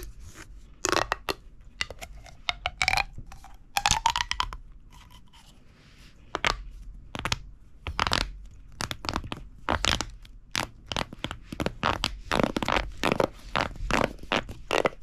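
A hollow red corrugated plastic pop tube is squeezed and bent with the fingertips of both hands, making its ribs pop and crackle. Dense bursts of sharp, bright snapping and crinkling come in quick clusters, with a brief rising squeaky tone early on and a short quiet gap near the middle before the rapid crackling resumes.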